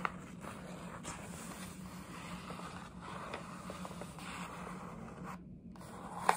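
Long nails scratch and tap on the printed side of a paper gift bag, up close. A steady, soft papery scratching runs throughout over a low hum, with a sharp tap at the very start and a louder one at the end.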